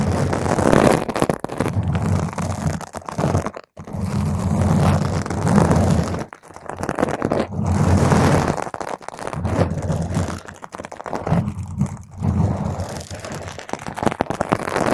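Long pointed nails of one or both hands scratch a round purple foam microphone windscreen. The result is a dense, crunchy rustling with a heavy low boom, in bursts broken by brief quiet gaps.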